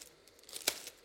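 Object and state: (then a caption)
Raw egg cracked open in a plastic bag. A raw egg sealed in a plastic bag is knocked to crack it open, confirming it is a real egg with real contents. Light, bright plastic crinkling builds up to one sharp crack-like knock near the end. Quieter rustling follows as the egg breaks inside the bag.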